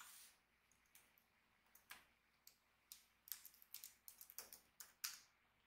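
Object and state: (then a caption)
Plastic laptop keyboard. Fingertips of both hands rapidly tap the backlit plastic keyboard of an Acer Nitro 5 laptop with a hollow body. The keystrokes are quiet, bright and clicky, each dying away quickly with almost no low end. They come at an irregular pace, sparse at first and then clustering into a quicker run in the second half.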